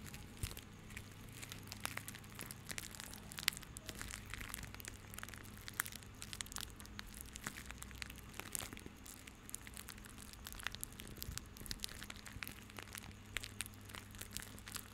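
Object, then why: Bundle of plastic rope. A small bundle of white plastic rope is held close over a microphone and squeezed and rubbed with fingertips. It makes a quiet, continuous crinkling and crackling full of sharp, bright ticks, over a faint steady low hum.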